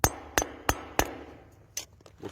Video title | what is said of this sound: DELPHINE JUBILLAR RECHERCHES " LE PETIT PONT " | ça sonne creux làdedans normalement